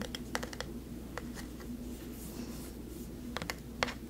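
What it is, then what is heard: Carved wooden face plaque. A medium-sized solid carved wood plaque of a face, with a textured bark-like surface, is tapped and scratched with long nails and fingertips. Short, dry taps with bright edges die away at once, clustered near the start and the end. Soft scratching fills the middle over a steady low hum.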